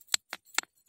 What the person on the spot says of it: Pero pag pinukpok niyo po yan, semento. Bato.